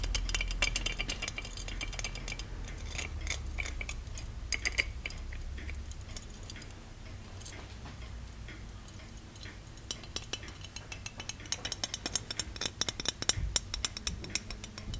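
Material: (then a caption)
Plated metal. Fingertips and nails tap and scratch the embossed body of a small, hollow, ornate gold-plated metal genie lamp held in both hands. Quick, irregular, bright metallic ticks and clinks come with soft scraping over a low, steady rumble, and each tap dies away almost at once. The tapping is densest near the start and again toward the end.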